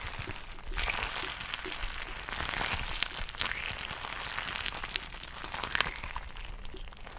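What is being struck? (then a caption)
Glitter-filled rubber squishy ball. A soft, filled purple glitter rubber stress ball is tapped and scratched by long nails close to the mic. The result is a steady, crackly, bright scratching texture with sharp tap clicks scattered throughout. A low, rumbling handling noise runs underneath.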